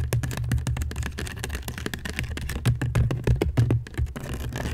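Long nails scratch along the weave of a medium, hollow woven seagrass basket turned upside down over the mic. The result is a quick, uneven run of short, dry scratchy ticks over a heavy, boomy low rumble from the hollow shape.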